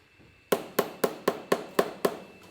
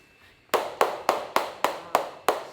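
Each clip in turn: First: one-year-aged cheese wheel. Second: very long-aged cheese wheel that sounds woody.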